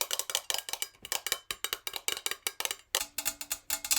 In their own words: I'm tapping this jar really fast with my natural nails.